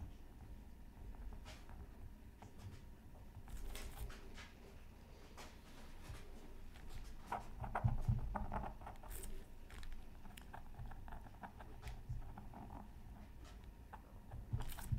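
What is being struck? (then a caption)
Scratch art card scratched with a bamboo stylus. A bamboo stylus held in the fingertips scratches lines into a flat, black-coated scratch art card from a Mythical Creatures Super Scratch Art Pad, resting on a mat. Quiet, dry, irregular scraping strokes with brief bright ticks sit over a low, steady rumble, growing a little louder around the middle and again near the end.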